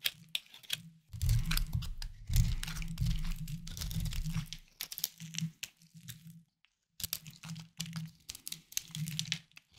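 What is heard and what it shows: A small knife scrapes and carves a hard, solid, palm-sized bar of white soap held in the hand, with crumbly shavings falling onto a wooden board. Dry, crisp crunching and scratchy crinkling come in irregular bursts over a low, steady hum, pausing briefly near the middle before the carving resumes.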